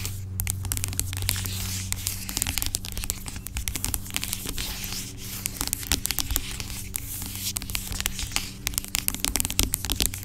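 Long acrylic nails scratch and tap the sides of a large, dark plastic pump bottle of aloe vera gel lying on its side, hollow but seemingly filled with gel. Rapid, dense clicks and bright scratchy crackles run throughout over a steady low hum.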